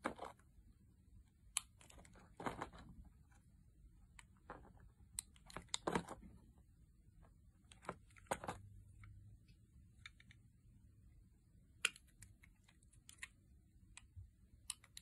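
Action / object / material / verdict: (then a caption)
scrape / translucent glycerin soap bar cut with a metal blade / glycerin soap / none. A metal utility blade shaves and scrapes thin slices off a solid, hand-sized pink translucent glycerin soap bar held in the palm. Quiet, irregular crisp scraping and crunching strokes come with brief bright ticks and soft rustling in between, over a low steady hum.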